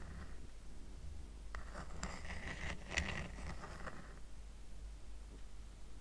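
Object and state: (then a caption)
Woven rattan coaster. Short nails scratch across the weave of a small, round, flat woven rattan coaster held down on a blanket. Quiet, dry raspy scrapes build into a brighter, denser scratching in the middle of the clip, with a brief sharper scrape near the peak, then fade back. A low, steady rumble sits underneath throughout.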